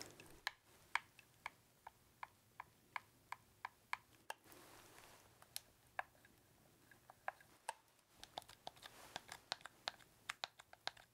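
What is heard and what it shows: Fingertips press, click and tap the buttons and shoulder triggers of a red, hollow plastic game controller held up close. About thirty quiet, dry plastic clicks sound, each very short with no ring and a bright, hollow tone centred near 950 Hz, with a brief soft rustle between them.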